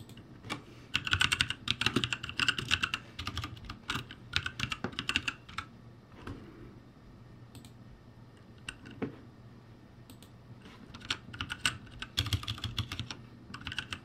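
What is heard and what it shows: Fingertips type on the right side of the plastic keycaps of a backlit ROCCAT G65 mechanical keyboard. Bursts of quick, bright, clacky keystrokes alternate with a quieter stretch of sparse taps in the middle, over a faint low hum. Each key strike is short and dry, with almost no ring.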